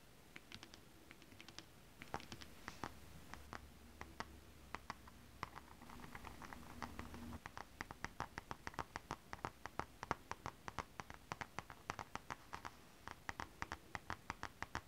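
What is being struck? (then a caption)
Foil scale-print stretch fabric scratched by long nails. Long acrylic nails scratch a flat, iridescent holographic mermaid-scale foil-print stretch fabric, with only one hand at the end. Quiet, rapid scratches and crisp, bright clicks come in a steady patter with almost no ring. A soft low hum sits underneath the middle stretch.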